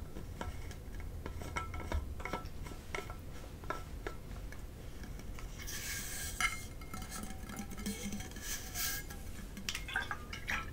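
Long purple-painted fingernails tap the loop-handle plastic cap and upper body of a medium, hollow, blue powder-coated stainless steel insulated water bottle in the Hydro Flask style, making quiet, rapid clicks with a faint metallic ring near 2 kHz. The bottle is then shaken, producing bright, rushing bursts of rattle over a low background rumble.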